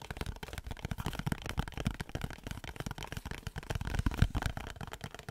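Fingernails tap and scratch the surface of a small printed cardboard Dove soap box held in the hands. The result is a quick, continuous run of soft, dull tapping mixed with dry scratching. The sound is mostly low and thuddy, with a brief louder flurry near the end and no ring after each tap.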